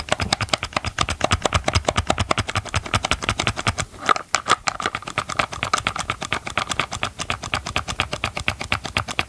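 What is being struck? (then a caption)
Hard plastic chainsaw housing. Gloved fingers tap and scratch close to the mic on the underside of a chainsaw's hard plastic housing and its ribbed grip area. A fast, steady stream of dry, clicky taps with a hollow plastic knock rings around 1.2 kHz, carries bright edges and stops instantly. The tapping pauses briefly near the middle before continuing.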